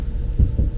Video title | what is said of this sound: Royal Caribbeans CHEAPEST Cruise Cabin…No Windows! | they are quite hollow when you tap on them